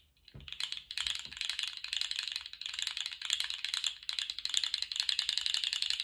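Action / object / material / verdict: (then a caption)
shake / segmented plastic fidget toy / plastic / none. A small, colourful, segmented plastic articulated slug fidget toy is held upright and then horizontal in lace-gloved hands, its segments wiggled and shaken. The segments rattle in a rapid, dense stream of light, bright clicks that come in short waves with very little low end, each click dying away almost at once.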